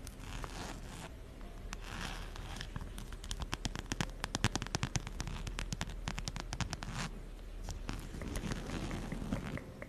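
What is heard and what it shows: A plaid fabric and brown faux-leather wallet is held in one hand close to the mic while long nails scratch and tap its surface and strap. Soft scraping and rustling run under a dense burst of quick, sharp crackling taps that peaks around the middle of the clip before easing back to gentle scratching.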